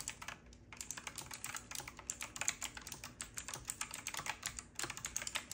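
Both hands type continuously with their fingertips on a full-size retro typewriter-style mechanical keyboard that has round black plastic keycaps, a metal-looking frame and a side knob, and is lit from below. A rapid stream of bright, sharp clicks and clacks follows, each dying out almost instantly, with little low end and a brief pause near the start.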